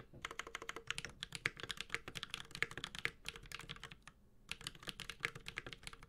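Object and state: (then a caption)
Mechanical keyboard with aluminum case and plastic keycaps. A Space65 Cybervoyager 65% mechanical keyboard with a white-gold aluminum case, plastic keycaps, a carbon fiber plate and Holy Panda tactile switches is typed on steadily with the fingertips of both hands. It makes a rapid run of crisp, bright clacks with a short, dry decay. The typing pauses briefly around the four-second mark, then resumes.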